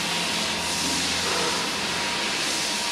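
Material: Nothing is struck.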